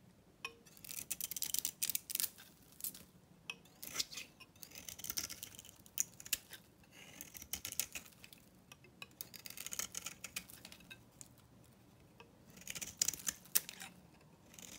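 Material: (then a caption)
Soap. A dry, solid cream bar soap with a blue painted coat is held in the hand and cut and shaved with a metal knife blade. Bursts of crisp, bright scraping and crackling come in uneven clusters, with many short, sharp snaps and almost no low end.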